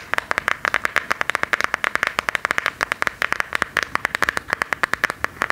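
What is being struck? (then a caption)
Smartphone in a hard plastic case. A smartphone in a hard plastic case with a silver and black decorative print is held up and tapped with long gold metal claw nails. About forty quick, sharp clicks land in an uneven rapid rhythm, bright and hollow-toned with no low end. Each tick stops dead with no ring.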